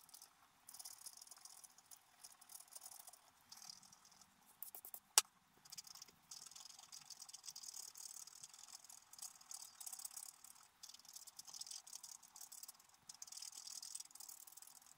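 A wooden stylus scratches the black coating of a scratch-art paper card lying flat. It makes a quiet, dry, bright scratching in dense bursts, with short pauses and one sharp click near the middle.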